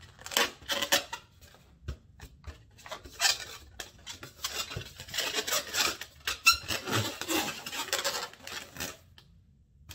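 Fingertips and nails tap and rub the stretched rubber surface of a single inflated, medium-sized, light blue latex balloon held by its knot end. Quiet bursts of bright, scratchy squeaks and dry ticks come in uneven clusters, with little low end and almost no ring. The sound ends in near silence.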